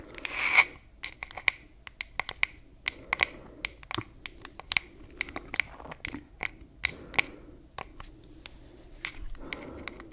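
Long fingernails tap and scratch the flat wooden back of a wooden hairbrush held in one hand. The result is a quick, irregular run of sharp, dry clicks with a bright tone near 2.2 kHz. Brief raspy scratching bursts open the sequence, recur around three seconds, and close it.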